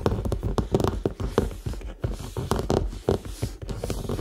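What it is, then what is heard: Faux leather handbag. A medium red structured faux leather handbag, hollow and held upright, is tapped and scratched on its side with fingernails and fingertips. The result is a quick series of short, dull, low-heavy taps with a faint tone near 445 Hz, mixed with soft scratching.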